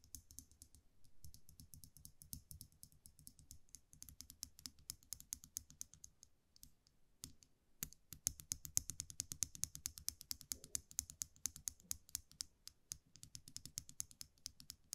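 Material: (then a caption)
Metal. A small metal eyelash curler is held in one hand while the fingers click its mechanism over and over. The result is a quiet, steady run of sharp, bright clicks with no ring, pausing briefly in the middle before resuming faster and a little louder.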